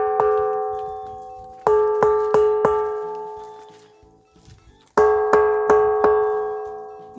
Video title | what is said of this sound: Pedra com som de sino de igreja ⛪ | Cada local que você percute, você tem uma sonoridade diferente.